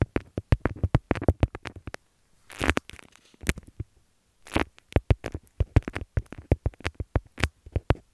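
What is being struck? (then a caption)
Beeswax-coated cotton wrap. Long nails scratch and press on a folded beeswax-coated cotton wrap with a leaf print, making quick, dry, crinkly taps and crackles that are mostly low and dull. Around 36 short hits come in bursts, broken by brief pauses and a few longer, brighter scratching swishes, with no ring after each sound.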